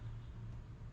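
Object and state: Nothing is struck.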